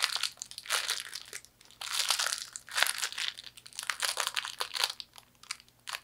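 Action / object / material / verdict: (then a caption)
scrape / fortune cookie in a plastic wrapper / plastic, cookie / none. A wrapped fortune cookie, its pieces inside a plastic wrapper, is crumpled and squeezed by hand. Bright, crackling crinkles come in irregular bursts with brief quiet gaps, mixed with small crunching snaps from the cookie pieces.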